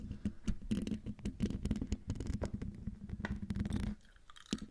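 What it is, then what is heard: Metal mesh microphone grille being scratched. Long dark-painted nails of both hands scratch the hollow domed metal mesh grille of a silver Blue Yeti microphone. The result is a dense, close scratching and clicking with a heavy low rumble and bright ticks. It briefly drops to near quiet before a few final scrapes.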